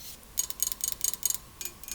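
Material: Metal.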